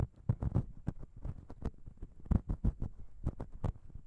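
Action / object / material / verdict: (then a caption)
tap / metal microphone capsule / metal / none. Long pink nails on both hands scratch and tap the small chrome metal microphone capsule of a Zoom H6 recorder. The result is a quick, irregular run of short, dull, deep thumps with a soft scratchy texture between them. The sound is heavy in the low end, with almost no bright content.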